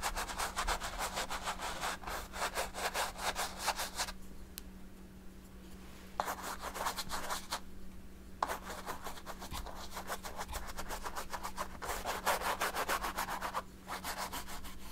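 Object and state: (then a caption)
Brush scrubbing thick oil paint on stretched canvas. A hand with long nails rubs and dabs a paint brush across a large stretched canvas covered in thick oil paint. Quick, scratchy bristle strokes come in rapid bursts, broken by two brief pauses, over a faint steady low hum.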